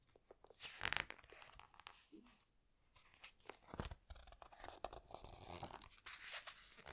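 Fingertips squeeze the glossy pages of a large open hardcover book and lift a page to turn it. Quiet, bright crinkling and crunchy rustles come in quick bursts, with a louder sweep of the turning page near the middle.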